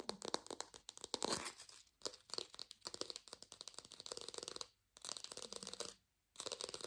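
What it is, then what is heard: Fake plastic lemon. An artificial lemon, probably plastic or foam, is held in both hands and fast-tapped and scratched with long nails. The result is a rapid stream of dry, crinkly clicks and bright scratchy texture, with almost no low end. The bursts are broken by brief silent pauses near 2, 4.8 and 6 seconds.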